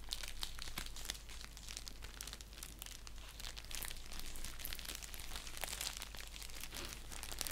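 Fingernails scratch along the edge and surface of a flat, hollow orange padded bubble mailer envelope, producing a steady stream of dry, bright crinkling and crackling over a constant low hum.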